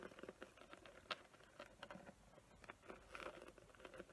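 Long nails scratch and tap across a small, flat, square box covered in glitter with raised glue leaf designs. The result is a quiet, dense patter of light, dry clicks and gritty scraping with a bright crackle, each touch dying away almost at once.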